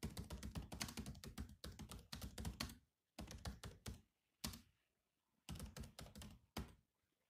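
Fingertips type on the black plastic keys of a grey laptop keyboard, with one hand briefly lifted. Bursts of rapid, soft clicky taps with a low, thunky body and very short decay are broken by brief pauses, with a single isolated tap in one gap before the typing resumes.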